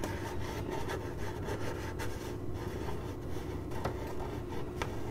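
Long glittery nails on one hand scratch across a hollow, printed corrugated cardboard box. The result is a steady, dense scratching and rubbing with a low, hollow body and a few sharper ticks.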